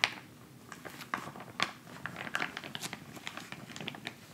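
A filled white plastic instant cold pack pouch rests on fabric and is then lifted while fingertips tap and scratch it, then crinkle it. Quick, dry taps and scratchy crackles come in irregular bursts with a bright, crisp plastic crinkle and almost no low end.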